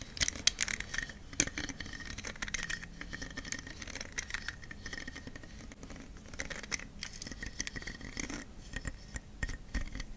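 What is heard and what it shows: A green leaf-shaped plastic detangling hairbrush with many thin plastic pin bristles is held in the hand in front of a wig. Fingertips and long dark-painted nails scratch and rake across the bristles in a steady stream of dry, bright ticking and scraping. Sharp clicks stand out near the start.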